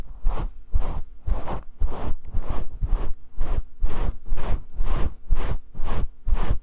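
Fingers rub and scratch the fibers of a grey faux fur microphone windscreen, making 12 soft, rustling bursts at about two per second with a slightly uneven rhythm. Each stroke is a muffled, heavy low-end scrub with a faint bright fringe, and there are short quiet gaps between strokes.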